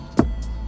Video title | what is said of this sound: S2000 Mesin Ultramilk⁉️ | if you tap it the sound is different because there is no fiber material